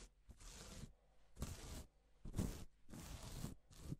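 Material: Plastic.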